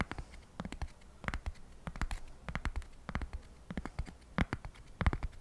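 A single flat, square, solid cork coaster is held by hand near the microphone and scratched with fingertips and nails in quick strokes. The result is a quiet, irregular run of short, dry scratching bursts, each with a soft low thud underneath and a brief bright rasp on top, separated by near silence.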